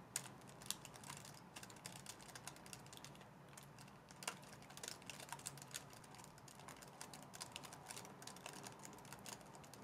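Long dark nails type on the black keys of a white plastic laptop base with a touchpad, held up in the air. The result is a steady, quiet stream of rapid, bright plastic clicks and taps that stop dead after each keystroke, over a faint low background hum.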